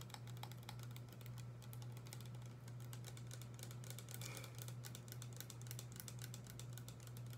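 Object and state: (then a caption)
Plastic spray bottle. Long acrylic nails tap rapidly on a small, hollow blue plastic spray bottle with a pump nozzle that appears filled with liquid and is held in both hands. The quick, light clicking taps run continuously with bright crisp edges over a steady low hum around 130 Hz.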